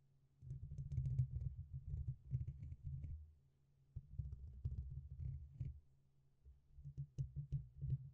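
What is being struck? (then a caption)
Metal mesh microphone grille. A single fingertip taps the top and side of a black, hollow, dome-shaped metal mesh grille on a red microphone. The result is rapid, soft, muffled thumps with a low boom around 125 Hz that die away almost at once. They come in three dense bursts separated by brief quiet gaps.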